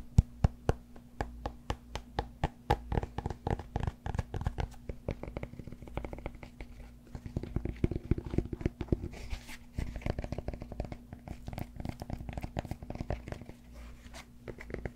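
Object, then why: Cork yoga block. Fingernails scratch and tap the surface of a solid cork yoga block held at an angle. Dull, short taps and soft scratching come in a quick, uneven patter, with the sound mostly low.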